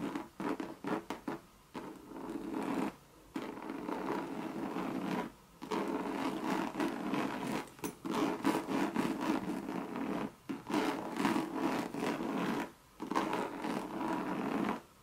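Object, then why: Coated canvas handbag. Long red nails scratch and tap a Louis Vuitton monogram coated-canvas bucket bag. A few quick taps and rubs open the clip, followed by long stretches of dense, raspy scratching broken by brief pauses. The sound is a dry midrange scrape with very little low end.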